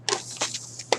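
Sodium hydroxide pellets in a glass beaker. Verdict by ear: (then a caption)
Dry. Freshly poured, dry white sodium hydroxide pellets are shaken in a glass beaker, giving bright, crisp rattling bursts that rise and fade quickly. Five separate clattering hits are heard over a low steady hum. The pellets sound dry and loose, not sticking to the glass.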